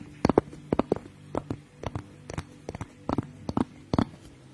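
Long acrylic nails tap quickly on the glass sides and rim of a small clear glass jar or mug with a pink lid, held in one hand close to the mic. The clip is a run of short, dry, clicky taps in small clusters, each with a faint low glassy tone that dies away almost instantly.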